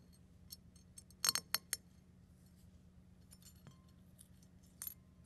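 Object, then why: Eggshell fragments on a ceramic plate. A fingertip presses down on small brown and white eggshell fragments resting on a ceramic plate, crushing them into smaller bits. Sharp, bright, crisp crackles snap out, loudest in a quick run of three around the middle, with softer faint clicks before and after and a final crunch near the end. A faint low hum sits underneath throughout.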